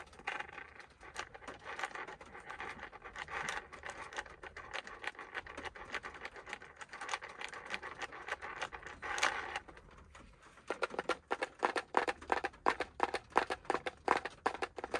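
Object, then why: Small round plastic container. Fingernails scratch and tap the label-covered lid of a small round green plastic tin container, first held in the hand and then resting on a lap. A dense, steady, mid-pitched scratching fills the first ten seconds, then after a brief lull it turns into a run of quick, crisp, separate taps.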